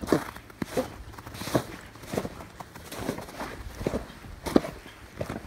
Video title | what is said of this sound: Best Cold Weather boot EVER!...Cold Feet? - "Micky" Boots. | listen you hear that water sloshing around they are wet